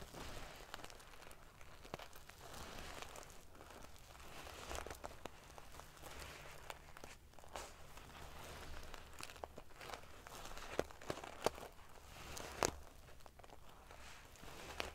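Fingernails stroke and ruffle the silver metal paillettes covering a sequin pillow, making a soft, continuous prickly rustle with bright, scratchy crinkles. A few sharper metallic ticks stand out near the end. A faint low hum sits underneath throughout.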